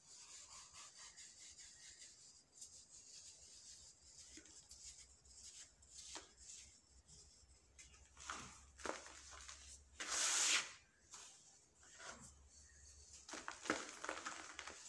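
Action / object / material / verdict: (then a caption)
scrape / dry soil clumps / soil / none. Bare fingertips and palms squeeze, rub and crumble hand-sized balls of dry, dusty soil in a large teal plastic basin full of loose powdery dirt. A steady, bright, gritty rustle of dry crumbling runs throughout, with louder crunchy bursts as clumps break apart into dust, and possibly some scraping against the basin.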